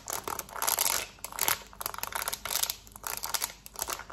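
Long nails rapidly tap and scratch the buttons of a black plastic TV remote held in the hand. The result is a fast, dense run of bright, crackly clicks and scratchy rasps in uneven bursts, with almost no low end and very short, dry decays.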